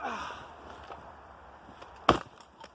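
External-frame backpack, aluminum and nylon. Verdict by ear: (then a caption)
Solid. A Gregory Evolution external-frame backpack, with an aluminum and nylon frame and a ripstop nylon pack, is dropped in a durability test. After a quiet stretch of faint background noise, it lands with a short, sharp, solid thump that dies away quickly, followed by a faint knock. The solid thump suggests the frame held up to the drop.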